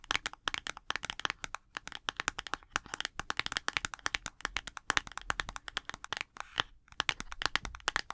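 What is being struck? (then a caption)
Small printed cardboard box. A small, hollow printed cardboard box is held in both hands and tapped and clicked with long acrylic nails. The result is a quick, irregular run of many sharp, dry clicks with a bright, papery edge, almost no low end, and no ring after each tap. The overall level stays quiet and close.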